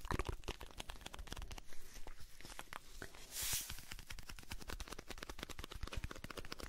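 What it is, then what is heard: Cardboard box, scratched and tapped. Fingertips and nails scratch and tap the surface of a blue Alpen Salz cardboard salt box. The result is a rapid run of dry, crisp taps and scrapes with a short rustling swell in the middle.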